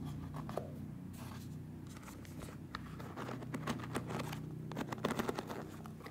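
Fingertips scratch and strum across the rows of wooden pins on a hand-sized, solid-bodied wooden (bamboo-style) paddle hairbrush. The result is a soft, continuous stream of dry scratching with irregular bright clicks and ticks over a steady low rumble. Louder flicks cluster toward the end.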